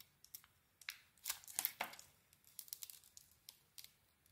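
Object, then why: Soap bar. A metal blade shaves the coating off a solid metallic-blue bar of soap with a cream core, making a series of short, dry, crackling scrapes. The scrapes are bright and crisp with almost no low end, and a longer, louder rasping cluster comes in the middle before smaller flicks trail off.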